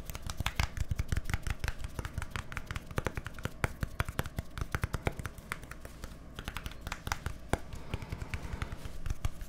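A small, hollow plastic deodorant stick container with a printed white label and a green plastic cap is held in both hands close to the microphones while fingertips and nails tap and scratch along its body and cap. Quick, dry clicks and taps with very short decay come in a fast, uneven stream, with light scratching in between, over a low, steady hum.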